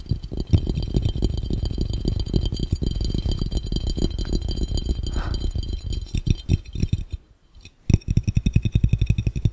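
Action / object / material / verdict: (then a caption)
tap / round glass fishbowl / glass / none. Fingertips tap rapidly on a clear, round, hollow, empty glass fishbowl, making a fast, dense stream of dull, low, thudding knocks with very little ring. The tapping goes quiet briefly near the end, then resumes just as quickly.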